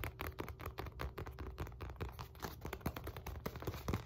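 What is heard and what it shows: Long nails tap and scratch the face and handle area of a black padded synthetic leather focus mitt with a white center circle. The result is a rapid, uneven run of soft, dull taps with a heavy low thump and brief scratchy texture, each one dying away almost at once.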